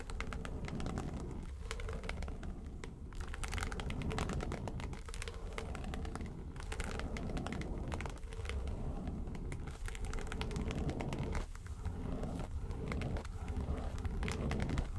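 Long nails tap and scratch the lid of a small, hollow, yellow textured faux-leather makeup suitcase. The result is a steady, dense stream of crinkly, crackling scratches with quick taps mixed in, over a heavy low, hollow rumble and little bright detail.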